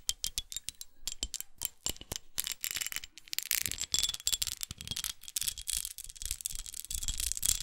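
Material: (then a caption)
Glass. Long acrylic nails rapidly tap and scratch a small, red, studded, textured glass perfume bottle with a rose cap, held in both hands. The result is a dense run of crisp, bright clicks and scratchy rasps with very little ring. The sound is mostly high-pitched, with only a faint low thud under each tap.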